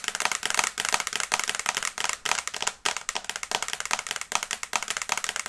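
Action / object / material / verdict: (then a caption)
tap / glass smartphone screen / glass / none. Long nails tap fast on the glass screen of a small flat smartphone in a teal and brown case, held close. The result is a rapid, dry stream of bright clicking taps that come in quick bursts with brief pauses, with almost no low end and no ring after each hit.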